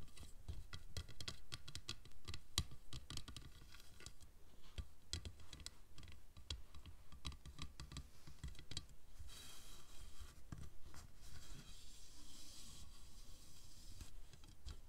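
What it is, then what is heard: Plastic rail tapped and scratched. Fingertips and nails tap and scratch along a long, narrow, dark translucent plastic T-profile rail with a raised ridge, lying on a red cloth. Quick, dry clicking taps come in irregular bursts, over a low, dull thump. Around the middle stretch, a softer, hissy scratching takes over as the nails drag along the rail.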